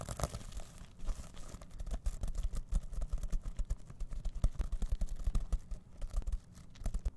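Fingertips rapidly rub and scratch the rainbow plastic sequins of a reversible sequin-covered fabric pouch held in both hands. The result is a dense, continuous run of quick scratchy clicks and rustles, with most of the energy in a low rumble and short, dry transients that stop almost instantly.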